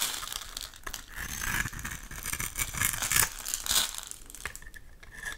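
A snap-off utility knife blade scrapes and cuts thin slices off the face of a solid, hand-sized oval pink Camay soap bar held in one hand, leaving crumbly shavings. A steady stream of dry, crisp scraping and crinkly crackling is heard, bright and hissy with a faint tone near 1.7 kHz, rising and falling as each stroke passes through the soap.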